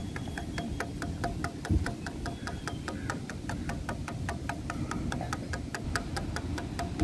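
Fingernails tap quickly and steadily on grey, weathered solid wooden bench slats outdoors, making a rapid string of light, dry clicks that stop almost instantly. A steady low rumble runs underneath the whole time.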